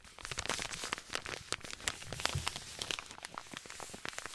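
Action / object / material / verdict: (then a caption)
scrape / paper compress packet / paper / none. A white paper compress pouch with blue print is crinkled and scratched with the fingertips. It makes a steady stream of dry, bright crinkling and crackling with quick, sharp snaps that die away almost at once.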